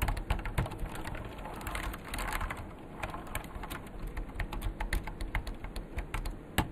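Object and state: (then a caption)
Plastic mechanical keyboard being typed on. Both hands type with their fingertips on a vintage beige plastic full-size KPT-102 mechanical keyboard with Alps switches, its hollow case resting on a desk mat. A fast, uneven stream of short, sharp key clacks with a low, hollow body continues throughout, with a few louder strikes standing out.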